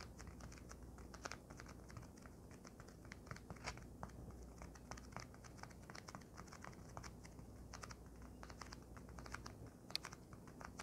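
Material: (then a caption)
Polyethylene foam. A flat, folded white polyethylene foam packing sheet lying on a blanket is tapped rapidly with the long nails of both hands. The result is a quiet, steady stream of dry, bright clicks and soft crinkly scratches over a low background hum.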